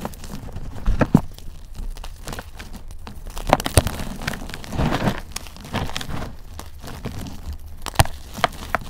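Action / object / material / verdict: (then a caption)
scrape / chunks of gym chalk and cornstarch / chalk, cornstarch / none. Fingers snap and crumble multicolored chunks of a dried gym chalk and cornstarch mudpie, solid yet crumbly, over loose powder. Dry, crunchy cracks and crumbling rustles repeat throughout, with a few sharper snaps standing out near the start, the middle and close to the end. Soft powdery hiss fills the gaps between breaks.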